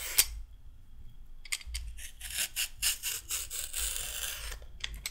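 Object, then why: Raw carrot scraped with a peeler. A handheld peeler scrapes down a raw carrot, curling off thin strips of peel. A sharp bright click opens the clip, followed by a quiet pause, then a run of quick, bright, rasping scrape strokes over a faint low hum that continues to the end.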